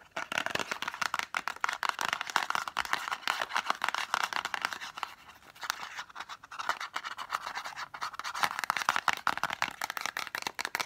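A small, hollow, green-and-white printed cardboard lozenge box is scratched and tapped quickly with long nails across its faces and edges. The result is a dense, dry stream of crisp clicks and scratchy rustles, centred in the upper midrange with bright edges and no low end. A brief quieter lull comes around the middle before the rapid tapping picks up again.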